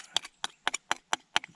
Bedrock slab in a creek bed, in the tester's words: that sounds Hollow that that'll come out